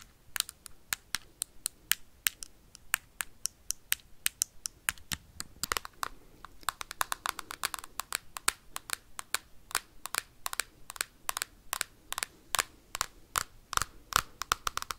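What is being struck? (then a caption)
Hard plastic game console tapped and scratched with metal paperclips. Metal paperclips scratch and tap rapidly on the hard plastic casing of a Nintendo Switch console held close to the mic. Dozens of sharp, bright clicks follow one another in a quick, uneven stream, with very little low end and almost no ring.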